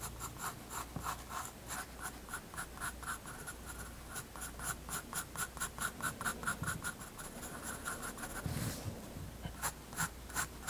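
A graphite pencil draws short scratching strokes on a page of a spiral-bound white paper sketchbook resting on a wooden desk. Quick, dry scratches repeat in a steady rhythm, each with a bright, crisp edge and a soft low rumble beneath. A slightly longer rubbing pass comes near the end before the short strokes resume.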